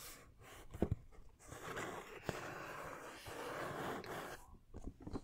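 Fingertips and nails tap and scratch a medium printed cardboard action-figure box with a plastic window and the figure inside. Quiet, dry scratching rustles run in long stretches, broken by a few short, sharp taps that die away at once.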